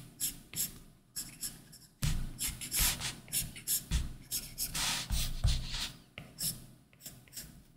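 A plastic Apple Pencil tip rubs and scratches quick drawing strokes across a large iPad Pro's solid glass screen, which is covered by a matte textured plastic screen protector. The strokes come in short, irregular bursts of bright, papery scratching, with soft low taps each time the tip lands.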